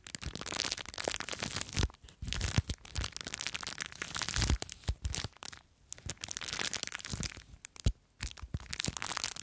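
Long nails scratch and crinkle a small clear plastic bag full of blue foam beads. The result is a dense, close run of crackling and crinkling with bright, hissy detail and soft low thumps, broken by brief pauses before the scratching resumes.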